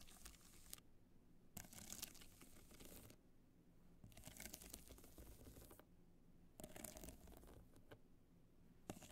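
Long nails scratch across the studded face of a hollow black hard-shell clutch covered in multicolor rhinestones, held in the hands. Bursts of bright, gritty scratching and crackle alternate with short, quieter pauses.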